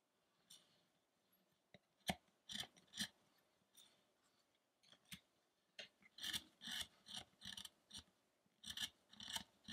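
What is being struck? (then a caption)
Carved wooden statue. A metal gouge scrapes and cuts into a solid carved wooden Buddha sculpture, the penance of Shakyamuni, while the figure is held steady. About twenty short, bright rasping strokes come in irregular bursts, with quiet pauses between them. The strokes cluster more densely toward the end.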